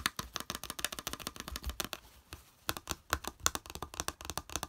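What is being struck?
Small plastic plate.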